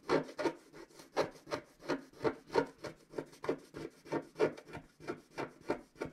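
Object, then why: Black wax-coated scratch-art paper scraped with a wooden stylus. A wooden stylus scratches a flat scratch-art sheet of black wax-coated paper at its upper right while the other hand rests on the sheet. About 17 short, dry rasping strokes come in a steady, slightly uneven rhythm, each a brief scrape with a mid-range body and a faint bright edge that stops quickly.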